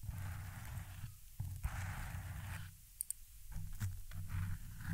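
Very long, pointed red acrylic nails, with rings on the fingers, scratch and rake across the soft, porous black foam windscreen of a silver Blue Yeti microphone. The result is a close, muffled, low rumbling scrape in waves, with brief quieter pauses and a few sharp little ticks.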